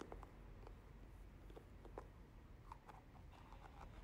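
A small, hollow teal plastic moisturizer jar with a white plastic lid is held in the hand and tapped with long nails on the lid and sides. Quiet, sparse clicks and light taps sound over a low background rumble, each tap short and dry.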